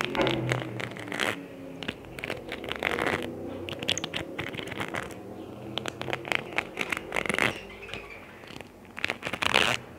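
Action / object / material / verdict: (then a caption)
scrape / plastic adhesive gem sheet / plastic / none. Fingernails scratch and tap across the rows of a small, thin, solid plastic sheet of red and white adhesive rhinestone gems held on the palm of the other hand. A rapid, uneven series of bright, crisp clicks and scratchy crinkles is heard, each tap dying away almost instantly, with louder bursts of scraping near the start and the end.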